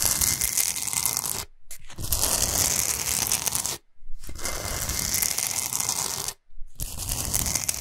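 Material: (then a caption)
Rock salt. Long nails scratch fast across a large, flat, solid pink Himalayan salt block, making a dense, bright, gritty rasp with a rumbling low texture underneath. The scratching runs almost continuously in bursts, broken by three brief silent pauses.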